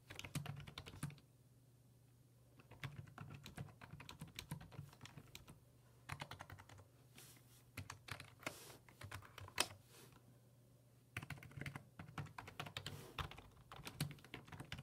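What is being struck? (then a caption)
Plastic computer keyboard. Fingertips type on the hollow plastic keys of a black plastic full-size computer keyboard resting on a wooden desk, producing rapid bursts of short, bright clicking taps separated by brief pauses. A steady low hum runs underneath, and each keystroke dies away almost instantly.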